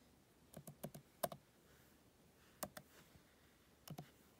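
Fingertips with painted nails press and tap the black plastic keys of an open MacBook keyboard in an aluminum body, typing. Ten short, dry clicks arrive in small irregular clusters with quiet pauses between them, each with a muted mid-range body and a bright edge.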